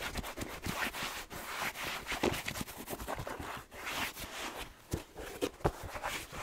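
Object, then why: Suede slipper shoe with rubber sole. Fingertips and nails scratch and rub the suede upper and rubber sole of an empty, handheld black slipper shoe with red plaid trim and fleece lining. The result is a steady, dry, bristly scratching texture with bright high hiss, broken by a few sharper taps toward the end.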